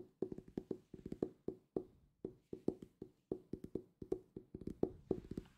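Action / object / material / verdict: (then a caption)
tap / hardcover book tapped with fingertips / cardboard, paper / none. A solid purple hardcover book, held upright, is tapped on the cover with fingertips, giving 26 quick, dry, woody taps. Each tap has a hollow, mid-pitched tone around 370 Hz that dies away almost at once, with no ring.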